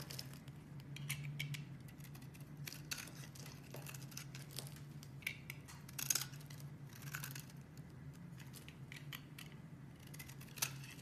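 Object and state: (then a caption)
Bar soap being shaved. A solid peach-colored bar of soap, held in the hand, is shaved and scraped with a metal box-cutter blade, producing flakes. Crisp, bright scraping and crackling strokes come in quick bursts, with a few sharper snaps, over a steady low hum.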